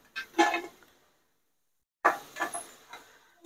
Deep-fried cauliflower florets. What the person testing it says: టక్ టక్ అని సౌండ్ వస్తుంది. ఇలా సౌండ్ వచ్చిందంటే బాగా ఫ్రై అయిందని అనమాట